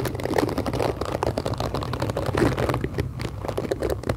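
Long acrylic nails scratch the black plastic bristles and tap the plastic body of a hand-sized pink plastic detangling brush held close to the mic. A dense stream of quick, dry clicks and scratchy crackles runs throughout over a low rumble, with each tap cutting off almost instantly.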